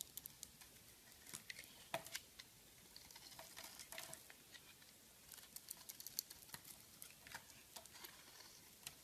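A metal blade scrapes and carves slices off the surface of an oval, solid purple Timotei soap bar, white inside, held in one hand. The sound is quiet, bright, crisp scratching with many short ticks and patters over a soft hiss, with almost no low end.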